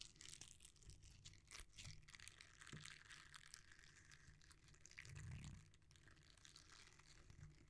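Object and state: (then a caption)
Silicone scrubber. A thin, solid red silicone scrubber pad with dense short bristles is squeezed, bent and rubbed between the fingertips of both hands. It makes a steady stream of soft crinkly, crunchy rubbing with bright scratchy ticks over a low, muffled rumble of handling. The level swells briefly toward the middle and then settles.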